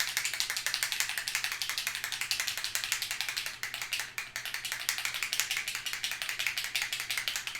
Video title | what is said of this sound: Cardmaker Tries Gel Press - Stamp With Simon! | I think there's a little shaker in here. So once you hear that, you just got to shake it up.